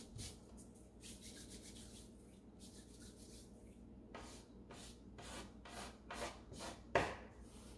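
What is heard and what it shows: A bare hand sweeps and rubs its fingertips across the thin wooden base of an empty, open light-wood drawer, pushing crumbs along. Soft, hissy rubbing strokes give way to a run of distinct, brighter scraping sweeps, ending with a sharper scrape-and-knock near the end.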